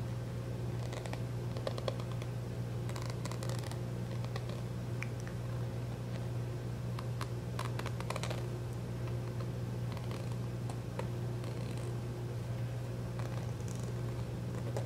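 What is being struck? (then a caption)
Small plastic squeeze tube. Fingernails tap and scratch across the surface of a small white plastic squeeze tube with a white cap, filled with product and held in both hands. Quick, dry clicks and brief scratchy rasps come in irregular bursts over a steady low hum.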